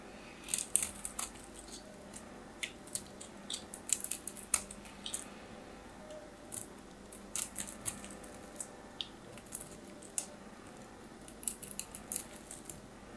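A palm-sized solid orange bar of soap, held in the hands, is scraped and cut into small cubes with a metal craft knife. Dry, crumbly scratching cuts and sharp, bright crunches rise over quiet background hiss, each dying away almost at once.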